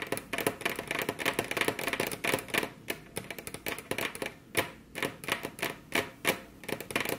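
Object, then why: Wooden table top. Very long curved fingernails, both hands resting on a flat, solid, glossy dark-brown wood-grain table top, tap the surface with their tips. The result is a fast, irregular run of sharp, bright clicks, each dying away almost at once, with some taps bunching into quick flurries and others landing alone.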